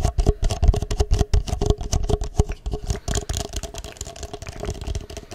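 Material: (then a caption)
Plastic. An empty, hollow, clear ridged plastic cup is held upside down near the microphone and tapped and scratched with long fingernails. Rapid, irregular tapping and scratching produces dull, low thuds with a faint hollow ring near 400 and 700 Hz. The taps start louder and gradually soften toward the end.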